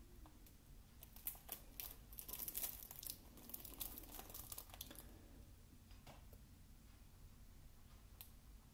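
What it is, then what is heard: Shrink-wrapped plastic game case. Fingertips scratch and tap the glossy cellophane shrink-wrap on a plastic video game case, crinkling the film close up. Dense bursts of bright crackling and sharp ticks cluster in the first five seconds over a low steady hum, then thin out to a few isolated crinkles.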